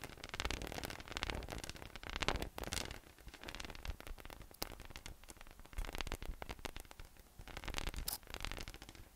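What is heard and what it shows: Fingertips tap and pat a hollow, air-filled yellow inflatable PVC massage ball with nubs resting on a white table. The result is a dense run of quick, soft, hollow taps with a low thumpy body and a crackly, rustling texture. Each tap dies away almost instantly, with brief louder bursts between quieter stretches.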